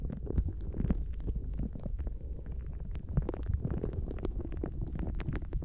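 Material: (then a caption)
Rubber. A translucent blue rubber dolphin squishy toy full of gel water beads is held in both hands, then bent and squeezed with the fingertips above the microphone. This produces a continuous low, wet squelching rumble with dense clusters of soft pops and occasional brighter clicks as the beads shift inside.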